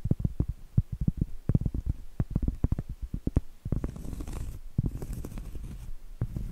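Medium acrylic nails tap and scratch on a round, flat, solid cork trivet held close, producing a quick series of dull, low, deadened taps for the first half. The sound then shifts into denser scratching with a soft, brighter rasp, and a few more taps at the end.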